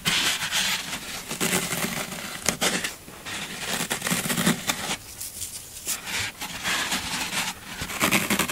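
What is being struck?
Green floral foam block.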